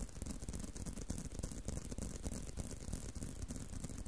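A leather belt is tapped and handled, giving a quiet, dense stream of soft, rapid, irregular taps with dull low-pitched thuds and faint rattling. Each tap dies away almost at once.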